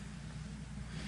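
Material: Nothing is struck.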